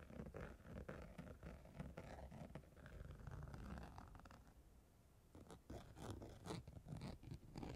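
The pointed tail of a black comb scrapes and scratches across purple holographic chunky-glitter fabric stretched over a rounded padded surface. The result is quiet, dense, rough scratching with low rumbly texture and brief brighter strokes, easing off in the middle before picking up again.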